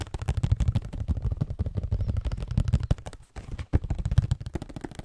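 A hollow cardboard Scotties tissue box is turned in the hands while fingernails tap and scratch across it. A rapid, dense run of soft, dull, low thuds with quick scratchy strokes fills the clip, briefly stopping a little past the three-second mark before resuming.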